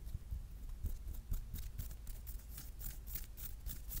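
Long red-painted nails tap and scratch a hard plastic, marble-print case on a hand-sized smartphone held in both hands; the case is solid. Quiet, irregular bright clicks and scratchy ticks come at a brisk, uneven pace over soft low thumps, each tap dying away quickly.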